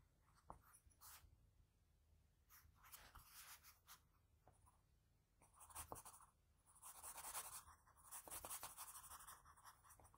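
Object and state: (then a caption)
Pencil drawing on paper. A graphite pencil draws strokes across a sheet of drawing paper, working over a face sketch from the nose up to the forehead. Soft, dry scratching comes in irregular bursts with bright hiss, some quick short strokes and some longer, louder shading passes.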